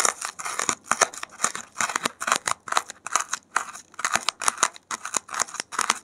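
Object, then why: Expanded polystyrene foam block. A gloved hand digs a safety pin into a white expanded polystyrene (thermocol) foam block, scratching out foam beads that pile up on the surface. A steady run of short, bright, crackling scrapes repeats in quick bursts with brief gaps, each stroke dry and gritty with no ring and no low end.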